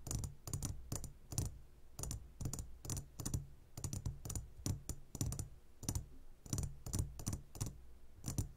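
Fingertips and nails tap quickly on the sides of a clear glass jar full of gummy candies. The result is a steady run of short, dry clicks with bright, high edges that die away almost instantly, sometimes landing in quick pairs, over a constant low rumble.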